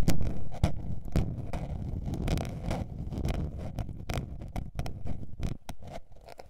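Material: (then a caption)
Paper. Long painted nails scratch a small blue patterned spiral-bound paper notebook that is held and then laid flat. Quick, uneven scrapes and taps come about four times a second over a dense low rumble, with short bright streaks. The sound is loudest at the start and fades gradually.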